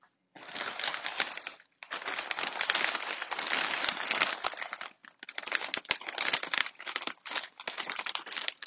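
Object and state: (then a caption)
Crinkling foil snack bag full of chips. A large plastic foil bag full of cuttlefish snack chips is held in both hands, squeezed and shaken. Dense, bright crinkling and rustling runs in bursts, with brief pauses near 1.7 and 5 seconds. The sound has almost no low end.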